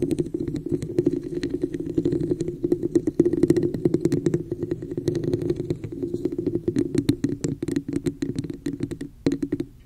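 Long nails tap and scratch the embossed woven sides of a hollow, empty red textured plastic cup sitting over the mic. A dense run of quick, dry clicks sits on a steady hollow resonance around 340 Hz, each tap dying away almost instantly with bright scratchy edges. The taps thin out briefly near the end before a final few resume.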